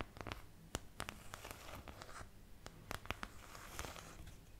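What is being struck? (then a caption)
Thin plastic paint palette. Long patterned nails scratch and tap across a thin, empty white plastic paint palette with domed wells. Sharp, bright clicks stand out against a low, rustling scratch. About fourteen quick taps sound, each stopping dead with no ring.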